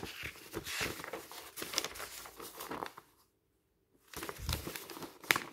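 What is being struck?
Stack of thin paper sheets and booklets.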